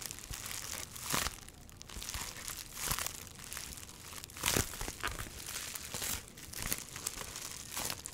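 An item wrapped in clear plastic bubble wrap is held in both hands while fingertips squeeze and rub the wrap, crinkling it. Bright, dense crinkling and rustling runs throughout, rising into sharper, louder crackling bursts now and then.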